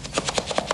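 A single toy brick rattles inside a closed box as the box is shaken during a counting game, showing what the box holds. The brick knocks against the box in quick, repeated, short clatters with a hollow, mid-pitched tone and a bright edge, each knock dying away almost instantly.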